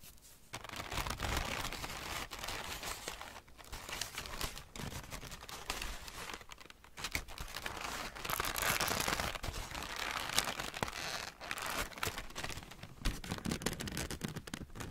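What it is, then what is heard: Crumpled wrapping paper. A large, thin sheet of wrapping paper is balled up and crumpled with both hands while fingernails rub across its surface. The result is a steady, dense stream of crisp crinkling and crackling with bright, sharp edges, swelling louder around the middle and easing off briefly before picking up again.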